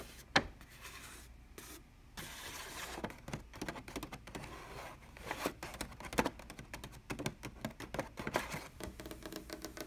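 A large, creased brown kraft paper bag stands upright and is tapped and scratched along its folds with long dark-painted nails and fingertips. Dry, crinkly scrapes and quick papery taps come in bursts, with a bright, rustling texture over a faint low hum.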